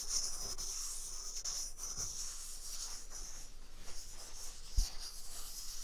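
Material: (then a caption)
Paper. A full white paper toilet roll is held near a microphone's ear, first on the left and then on the right, while a palm and fingertips rub across its paper surface. This makes a steady, soft, bright scratchy hiss with faint low handling bumps. A sharper bump stands out near the end.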